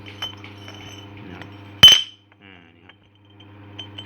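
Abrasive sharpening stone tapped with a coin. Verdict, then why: Real. A coin taps the body of a new Indian Red Lite abrasive knife-sharpening stone, giving a short, bright, glassy clink with a ringing tone near 3 kHz that dies away quickly over a faint low hum. The stone rings solid, showing it is genuine and strong, since a fake one breaks easily.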